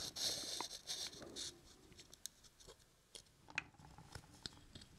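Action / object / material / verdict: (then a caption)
scrape / small wooden puzzle cube / wood / none. A small hollow light-wood puzzle cube with square window holes is held and turned in both hands above a wooden puzzle box, as fingertips rub and scratch its sides. A bright, dry scratching swells through the first second and a half, then fades into quieter rubbing broken by sharp, short wooden clicks and taps as the cube rotates.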